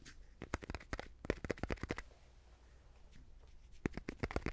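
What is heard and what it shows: A palm-sized, hollow-backed white art canvas, cotton stretched over a thin wooden frame, is tapped with fingertips and fingernails while moved near and far from a binaural mic. Quick, dry taps with low, papery thumps and short clicky ticks come in bursts, pause in a quiet stretch of soft rustle, then return in a second flurry.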